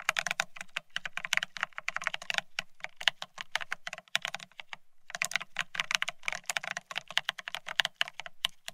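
Fingertips of both hands type fast on the plastic-looking keycaps of a full-size beige split ergonomic keyboard, a solid desktop object. Quick, bright clicks run in dense bursts with a short pause near the middle, each tap dying away almost at once over a faint low thud.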